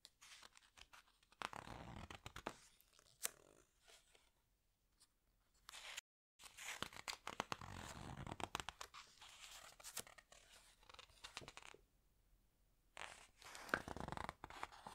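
Fingers with long nails lift, turn and squeeze the glossy paper pages of a thick open hardcover animal book. Crisp, crinkly rustles and papery snaps come in bursts, separated by quiet pauses and a brief moment of total silence.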